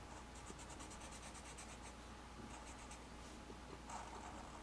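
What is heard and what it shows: A black felt-tip marker tip, held in hand, scratches and rubs across a flat white paper sheet with ink knot designs while inking lines. Soft, quiet, bright scratchy strokes come in short rhythmic bursts over a steady low hum.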